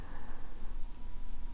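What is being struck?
Nothing is struck.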